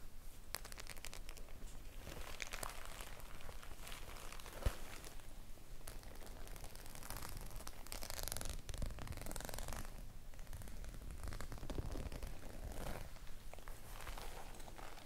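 Fingertips and long nails tap and scratch across the metal studs of a flat, likely empty white faux-leather clutch bag as it is tilted. The result is a steady, dense stream of crinkly, tearing-like scratches with brighter bursts of rasping over a low, muffled rumble.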